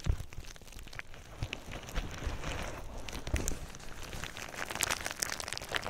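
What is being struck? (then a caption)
Plastic bubble wrap. Clear plastic bubble wrap lies over the microphone as fingers squeeze and pop its bubbles. The result is a steady crinkling and crackling with scattered sharp, bright pops and soft low thumps from handling close to the mic.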